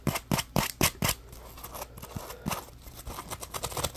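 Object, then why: Textured polymer foam scrub sponge. Fingertips rub and scratch along the rough surface of a solid, palm-sized yellow textured polymer foam scrub sponge, a Scrub Daddy puppy. Five quick, sharp, bright scratches come first, then softer, steady rubbing with a few scattered louder scrapes.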